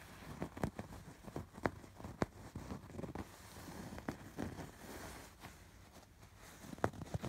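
Fingertips and short nails scratch over the raised diamond and hexagon embroidery on a soft stuffed fabric pillow. The result is quiet, dry scratching and rustling, broken by sharp, brief ticks that die away almost instantly.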